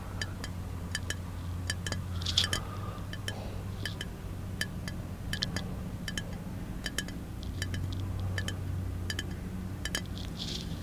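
A small capped glass milk bottle is held tilted in one hand while fingertips tap and nails click on the glass, with possible liquid moving inside. Bright, short clicks ring around 3.4 kHz and die away quickly, over a steady low hum.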